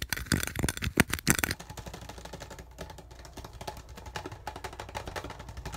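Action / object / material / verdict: scrape / thin plastic bottle / plastic / none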